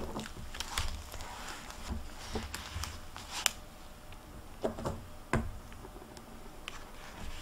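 Fingers with long nails flip and turn the paper pages of an open hardcover library book with a plastic dust jacket, resting on a table. Soft, continuous papery rustling is broken by a few sharper, bright crackling snaps as the pages turn.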